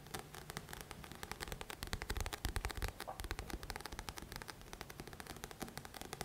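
A thick paperback book of solid paper with a glossy coated card cover is held in both hands while fingertips scratch and tap its front cover, the book shifting slightly. A rapid, steady stream of crisp, dry taps and scratchy strokes is heard, each with a dull low thump under a bright papery click. The sounds die away almost instantly.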